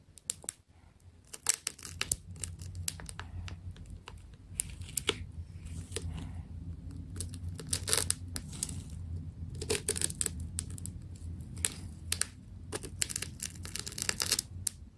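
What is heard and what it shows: A small blade cuts into the layers of a white and blue wound plastic tape ball, making sharp, bright crackles and tearing crinkles in irregular bursts. A steady low hum runs underneath throughout.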